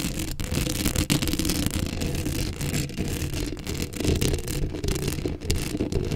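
Long acrylic nails scratch the hollow metal mesh grille of a black Blue Yeti microphone up close. The result is a continuous, dense scratching and rasping texture, heavy in low rumble with a bright, gritty edge on top, swelling and dipping as the strokes change.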